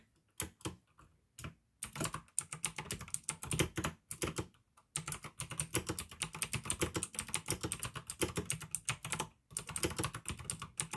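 Fingertips type on a pink plastic AUKEY mechanical gaming keyboard with blue switches. Quick bursts of sharp, bright clicks land over a low thock from each keystroke. The typing comes in runs with a few short pauses, the longest near the start.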